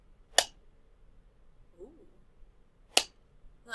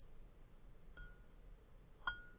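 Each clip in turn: First: plastic cup. Second: drinking glass, glass.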